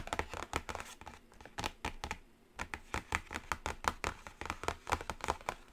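Long acrylic nails tap rapidly across the top edge and lid of a flat, closed black cardboard Carnival eyeshadow palette. The result is a dense run of short, dry clicks with crisp bright ticks and a brief quieter pause midway.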